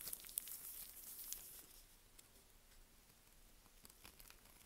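A small curved knife cuts and scrapes crumbly chips from a solid, dry, partly carved green "Green Tea" soap bar by Svoboda, held in gloved hands. Bright, crisp scraping and crunching with sharp ticks is loudest in the first second and a half, then continues more quietly as fine crackles and clicks.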